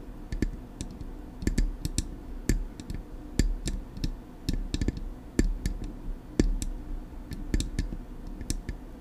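Long acrylic nails tap on the smooth metal body of a silver Blue Yeti microphone in an irregular series of sharp, clicky taps. Each tap is short with almost no ring, carrying a bright tick on top over a steady low rumble underneath.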